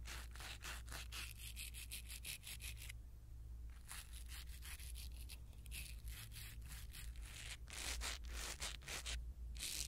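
A blue silicone-bristle ear pick rubs and scratches a small black foam windscreen on a pin microphone. Quick, bright, brushy scratching strokes come in bursts, with a brief lull near the three-second mark. A steady low hum runs underneath throughout.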